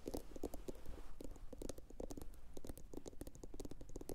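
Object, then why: Glossy ceramic bowl, turned upside down. A medium, hollow, empty blue glossy bowl, likely ceramic, is turned upside down and tapped with long pointed acrylic nails from both hands. The result is a fast, continuous patter of short, dull taps with a low hollow thump and bright clicky nail ticks, each dying away almost instantly.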